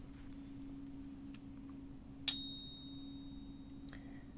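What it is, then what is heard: Genuine silver coin. A genuine silver eagle coin is placed on the device and tapped near its center, producing a sharp metallic strike that rings into a long, clear tuning-fork-like tone of about 3.7 kHz. A fainter second tap follows near the end over a steady low hum, and the coin is detected as good.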